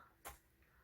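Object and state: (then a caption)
Hollow-sounding lightweight metal knitting needle. The metal tips of Chiaogoo interchangeable knitting needles are knocked together, giving a short, hollow "tung" knock with a bright, brief ring that fades quickly, then a fainter tap. The hollow sound is likely because these needles are lighter than Knitpicks nickel needles.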